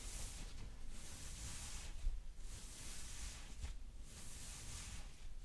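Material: Nothing is struck.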